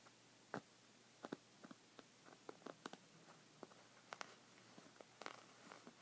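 Red-painted fingernails scratch along the woven surface of a folded white textured fabric rug resting on a wooden table. About twelve short, dry, scratchy strokes stand out at a quiet level, each a brief bright rasp that fades almost instantly over a faint steady low hum.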